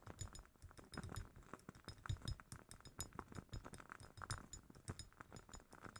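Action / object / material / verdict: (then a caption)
tap / glass candle jar / glass / none. A glass jar holding a wooden-wick candle is tapped quickly and repeatedly, close up and quiet. Each tap gives a short, dull knock with a low body and a faint bright clink that dies away almost at once.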